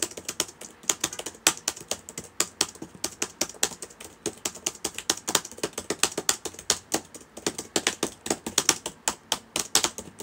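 Fingertips of both hands type on the plastic keys of a black laptop with a hollow body, sitting open on a table. Quick, bright, dry key clicks patter in uneven bursts with very little low end and almost no ring after each tap.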